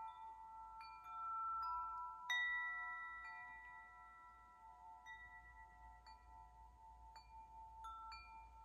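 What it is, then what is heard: Metal tube wind chime. A metal tube wind chime, with several hollow patterned metal tubes on a hanger, is struck and shaken by fingers so the tubes clink together. Irregular bright metallic strikes ring out into overlapping sustained tones centred around 2 kHz, and the loudest hit comes early before the ringing slowly fades under quieter taps.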